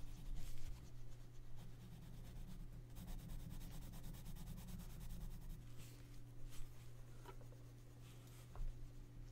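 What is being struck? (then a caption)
Colored pencil rubbing on a paper coloring book page. A gloved hand rubs a pink colored pencil across the page of an open paper coloring book lying flat. The result is a soft, steady scratchy rubbing with brief louder strokes over a low hum.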